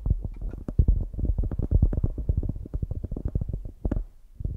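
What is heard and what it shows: Long grey nails tap and scratch the top and sides of a palm-sized solid polyurethane foam squishy donut with an orange top. The result is a rapid, continuous run of soft, muffled low thuds with almost no brightness. Each tap dies away at once.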